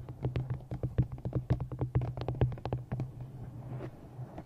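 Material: Cardboard.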